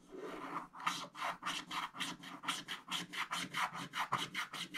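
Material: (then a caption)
Wax coating. A wooden stick scratches the remaining black wax coating near the edge of a scratch-art paper page with vigorous strokes, building up loose wax crumbs. It makes a dry, bright, raspy scraping: a short continuous rub, then a rapid, rhythmic series of separate back-and-forth strokes centered in the midrange with a hissy high edge.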